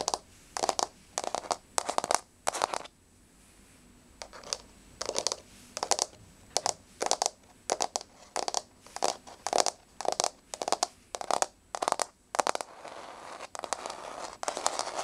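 Long fingernails on both hands tap rapidly on a flat, solid wood-grain laminate floor. The result is quick bursts of crisp, dry clicks with almost no ring, separated by short pauses, with a brief quieter gap near the start. Toward the end the tapping turns denser and slightly scratchier.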